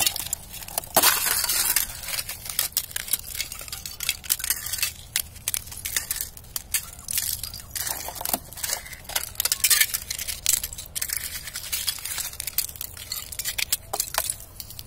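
A knit-gloved hand presses and crushes a pile of thin, clear ice shards from a thin ice sheet lying over grass. Dense, bright crunching with glassy clinks and sharp snaps comes in quick bursts, with stronger surges of crackling near the start, middle and later on. Each snap ends almost instantly, leaving little low-end body.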